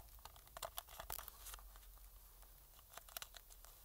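A thin metal pick scratches along the seams on the front and around the light bar of a hollow, black plastic PS4 controller. The quiet, dry scratching crackles and crinkles with short, sharp clicks. The clicks cluster in bright bursts early on and again near the end, over a low, steady hum.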